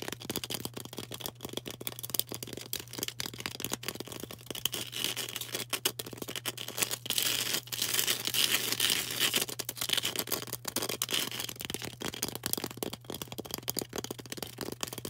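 Long orange nails tap and scratch a solid green floral foam brick held close, making dense, crisp, bright scratching and ticking sounds in an irregular stream. A steady low hum runs underneath throughout.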